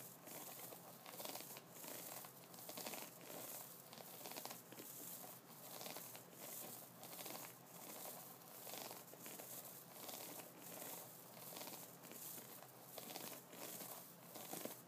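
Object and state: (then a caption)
Wooden brush with bristles. Fingertips of both hands scratch the bristle side and the nub side of an upright wooden brush. The result is a steady, crinkly scratching rustle that swells and fades in a loose rhythm, bright and airy with little low end.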